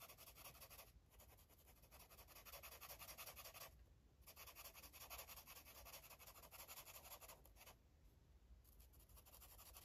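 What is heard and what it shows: An orange marker is stroked repeatedly across a paper coloring book page, scratching and rubbing the paper. The rapid back-and-forth strokes make a steady, bright, hissy scratching with brief pauses around 1, 4 and 8 seconds.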